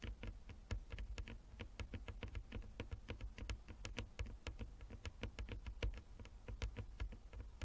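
A flat wooden chess board with inlaid squares is tapped quickly with the long nails of both hands. The result is a steady patter of short, dry, bright clicks over a low, soft thud, each tap dying away almost at once.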